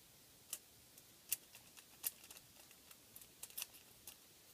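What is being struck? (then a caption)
Crinkled aluminum foil sheet. Fingertips of one hand tap and scratch the surface of a thin, flexible, crinkled sheet of aluminum foil lying flat on a table. The result is a quiet series of sharp, bright ticks and crackles spread over a few seconds, with almost no low end and no ring after each touch.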